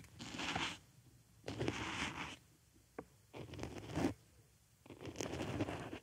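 A wooden stick pokes and scratches inside the hole of a white foam makeup sponge resting on a microphone ear. Rapid, crunchy scratching comes in four long bursts separated by quiet gaps, with a brief sharp tick between the second and third. The texture is bright and papery over a soft low thump.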